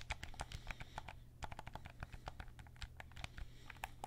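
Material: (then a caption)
Plastic. Fingertips tap and press the buttons and hollow plastic shell of a white PS5 DualSense controller as it is turned to show its front and back. A quick, irregular run of short, dry plastic clicks sounds over a steady low hum, each click dying away almost at once.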